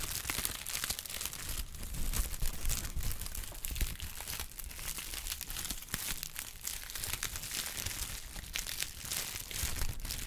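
A flexible brown honeycomb kraft paper sheet is stretched, folded and crinkled by hand, giving a continuous stream of dry crinkling and crackling with quick, bright snaps. A steady low rumble runs underneath, and the level stays fairly even throughout.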